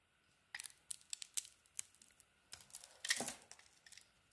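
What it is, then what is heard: Soap bar being carved. A metal blade shaves curls from a rectangular solid soap bar, orange at the core with a teal outer layer, held in the hand. Quiet, crisp scraping and carving strokes come in short, bright, crackly bursts with brief pauses between them. A longer, louder scrape arrives near the end.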